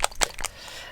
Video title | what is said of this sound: Hobby Happy Hour (November 17th 2021) | the dropper bottles have ball bearings in so when i shake them you can hear the ball bearings rattling about inside